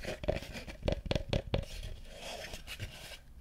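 Fingertips and nails tap and scratch the slats of a small, hollow, empty, light wooden bucket with a rope handle and a WWF logo. Quick, dry knocks with a hollow tone near 600 Hz cut off almost at once, with soft scratchy scraping between and after them.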